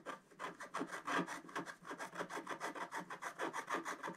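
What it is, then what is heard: Scratch-art paper scratched with a wooden stylus. A wooden stylus scratches cloud shapes into a flat, black-coated scratch-art page with fast, repeated short strokes. About two dozen quick, dry, raspy scrapes follow one another in an uneven rhythm, with little low end and a papery midrange hiss.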